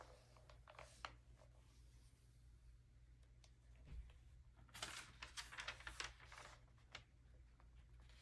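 An early-2000s glossy paper magazine lies open on a table while fingertips rub and smooth the page with soft, scattered brushing sounds over a steady low hum. The fingers then grip the page edge and turn it, giving a burst of crisp, bright crinkling and flapping that fades back to quiet rubbing.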